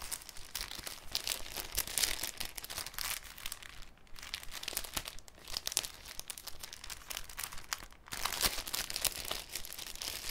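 A thin, clear cellophane sheet is held and crinkled by fingertips, then folded into a cone. It makes dense, bright, crackling crinkles that run almost continuously, with brief dips near 4 and 8 seconds. After that, a louder, busier stretch of crinkling continues to the end.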